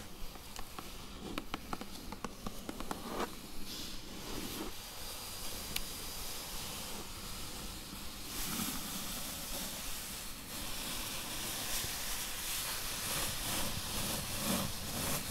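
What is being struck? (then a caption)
Corrugated cardboard box. Long yellow-tipped acrylic nails tap and scratch the top of a flat, closed, medium-size hollow corrugated cardboard box lying on blue fabric. Light, crisp taps over a soft hiss in the first few seconds give way to steady, bright, papery scratching that grows louder and denser from about 8 seconds on, with a faint low hollow thrum underneath.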